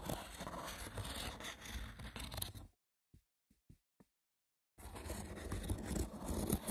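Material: Wicker.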